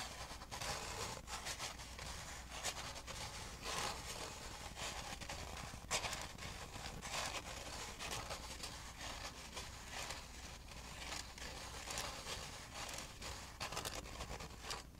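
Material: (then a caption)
Styrofoam. Fingertips and nails tap and scratch the sides of a large, hollow, apparently empty styrofoam fast-food drink cup with an orange and blue print, held in the hands close to the microphone. The result is a steady, dense run of bright, crunchy squeaks and scrapes with a few sharper taps, the loudest near the six-second mark, over a faint low hum.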